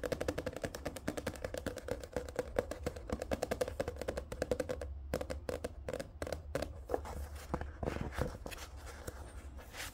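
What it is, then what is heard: Paperback book cover. Fingertips tap and scratch the glossy card cover of a thick paperback manga book standing upright. A rapid run of short, dry, dull clicks fills the first half, then sparser taps mix with soft scratching. A steady low hum runs underneath throughout.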